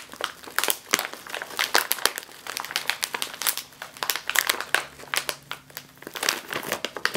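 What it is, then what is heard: Foil chip bag crinkled. A sealed metallized foil snack chip bag is squeezed and crinkled with the fingers and nails. Dense, bright, crackling crinkles come in rapid overlapping bursts throughout, each snapping off sharply with no ring.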